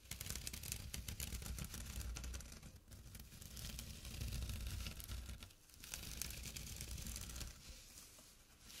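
Short fingernails and fingertips scratch a small, flat, empty jute burlap drawstring pouch lying on dark cloth. The sound is a dense, continuous rasping and crackling, bright and papery on top with a steady low rumble underneath. It comes in bursts that briefly dip quieter around the three- and six-second marks before resuming.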